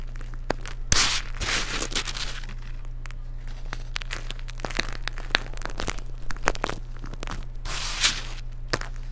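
Fingertips with dark nail polish press and crush chunks of a solid white baked baking soda cake topped with glitter, rubbing the crumbly pieces into powder. Dry, bright crunches and gritty crumbling bursts come and go over a steady low hum.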